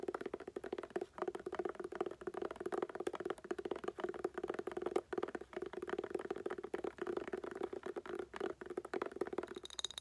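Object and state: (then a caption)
Hollow woven-covered hard glasses case. A tan woven-covered hard glasses case, held upright and hollow, is tapped and scratched with long nails. Dense, quick clicks and scratchy strokes run throughout, carrying a steady hollow tone near 363 Hz with little low end. A faint high tone appears near the end.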